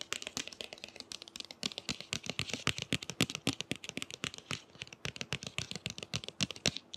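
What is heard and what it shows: Fingernails tap on the glossy cover of the book "Clap When We Land," making a rapid, uneven run of sharp, bright clicks. The dry ticking sounds like typing on a keyboard.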